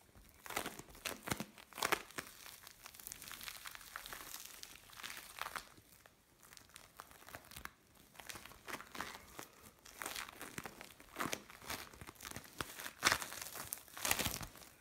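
A mixed lump of blue and orange bead play foam is squeezed and pulled in the hands. It makes quiet, bright crackling and crinkling bursts, with sharp snaps of popping beads and short soft pauses between handlings.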